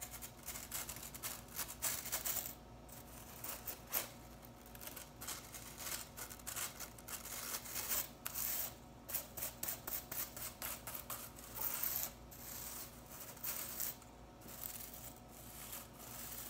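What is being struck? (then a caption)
Plastic broom bristles. A hand with long nails rapidly flicks and brushes blue plastic broom bristles held above a table. The result is a fast run of crisp, bright, scratchy flicks and brushing rustles that come in quick bursts with short pauses, each flick cutting off almost at once.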